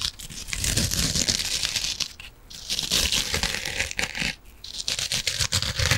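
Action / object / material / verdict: scrape / foam kitchen sponge with scouring pad / foam / none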